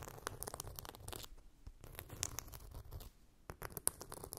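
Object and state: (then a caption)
Glitter-coated phone case. Long pink nails scratch and grip a flat, hand-sized blue phone case coated in chunky glitter. The result is a quiet, dense rasping and scratching with a rough, tearing texture, broken by sharp bright clicks and brief pauses.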